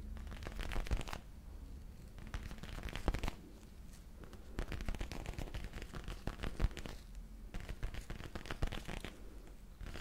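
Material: Faux leather.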